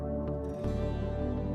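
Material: Nothing is struck.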